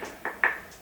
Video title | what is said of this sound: Ronin SC Unboxing | sounds like metal handle right there